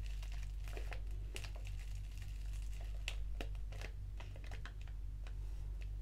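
A small, flat black foil-lined paper tea sachet of Organic English Breakfast, with a tea bag inside, is crinkled with the fingertips and torn open at the top edge with long nails. Quick, bright crackles and sharp papery snaps come in an uneven, rapid stream over a steady low hum.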